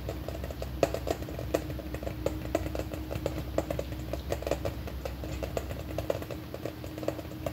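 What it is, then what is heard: Hollow plastic container tapped with fingernails. Long painted nails tap and scratch a large, red, hollow plastic M&M-shaped container about the size of a ball, held in both hands. Quick, dry clicks with a hollow mid-pitched ring and short bursts of scratching sound over a steady low hum. Each tap dies away almost at once.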